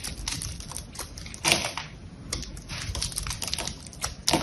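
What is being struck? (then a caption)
Dried soap bar with paint coating. A small knife blade scrapes and cuts into a green, hand-sized rectangular bar of dried soap with a metallic paint coating, held in the fingers, as crumbly chunks flake off. Rapid, dry, bright crackling and scratching textures fill the clip, with louder crunchy bursts near the middle and at the end.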